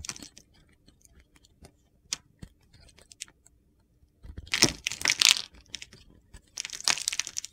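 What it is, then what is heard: Bar soap. A utility knife blade scrapes and cuts crumbly shavings from the top of a solid blue and white bar of soap held in the hand. Scattered dry ticks and crackles give way to two longer bursts of bright, gritty scraping and crunching.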